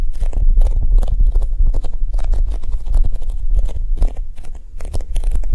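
Long nails and fingertips tap quickly across the top of a large, oval, yellow polyurethane foam squishy shaped like a Japanese cheesecake, which is solid, soft and resting on a table. The result is a steady, rapid patter of soft, muffled thuds heavy in the low end, with brief crisp clicks from the nails.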